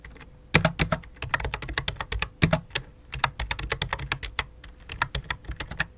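Both hands type rapidly with fingertips and long dark nails on a full-size white and light-blue plastic computer keyboard resting on black cloth. The result is sharp, clicky plastic key taps with bright highs and soft low thumps, coming in uneven bursts separated by brief pauses over a faint steady hum.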